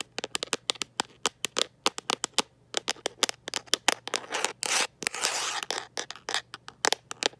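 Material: Plastic.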